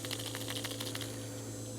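A dried hardy water lotus seed head is shaken, and its loose, acorn-like seeds rattle inside in quick, dry, clicking bursts, confirming the pod is still full rather than empty. A steady low hum runs underneath the rattling throughout.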